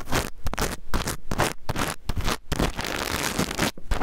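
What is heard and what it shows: Fingernails scratch across the plastic sequins of a small rainbow reversible-sequin fabric pouch, held upright and sideways, flipping the sequins as they go. The result is bursts of dense, scratchy rustling that sound much like a zipper, separated by brief quiet gaps, with a heavy low rumble underneath.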